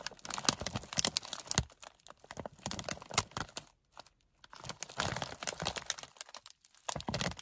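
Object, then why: Plastic foil snack bag. A medium, partly full Gardetto's snack bag made of plastic foil is gripped in both hands while fingertips and nails crinkle and scratch it. Dense, bright crinkling and scratchy rustling come in bursts, with brief quiet gaps around four and six seconds.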